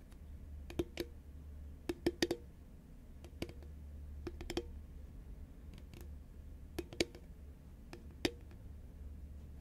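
Long fingernails on both hands tap the sides of a tall, cylindrical composite paperboard Pringles can held upright in both hands. The taps land in sparse, irregular clusters, each a quick, dry click with a hollow knock near 340 Hz and a bright tick on top, dying away almost instantly. A steady low hum runs underneath.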